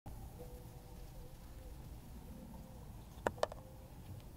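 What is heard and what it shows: Long pointed nails in glittery lace gloves tap and scratch the base of a small, round, hollow wooden bowl with visible grain, held base-first next to a fluffy microphone cover. A quiet, low rumbling background with a faint steady hum runs throughout, broken near the end by two sharp, short taps that die away almost instantly.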